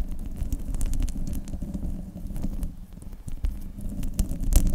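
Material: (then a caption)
Metal mesh. Long nails on both hands scratch the top of a silver desktop microphone's hollow metal mesh grille. The result is a dense, continuous low rumble under a steady scratching texture, with sharp bright ticks and clicks scattered throughout.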